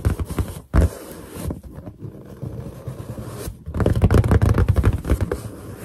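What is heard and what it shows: Long nails on both hands tap and scratch a large, hollow, inflated white latex balloon. The result is a dense, irregular run of deep, booming thumps mixed with dry scratchy rubbing. A louder burst of quick taps comes near the end.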